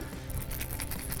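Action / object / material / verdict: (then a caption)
shake / hollow plastic topwater lure with rattles / plastic / none. An original Sexy Dawg hollow plastic topwater fishing lure is shaken to sound its standard internal rattles, which draw bass from a distance. A soft, quick rattling of bright, clicky ticks runs over a low background rumble. It is a normal, nice-sounding rattle.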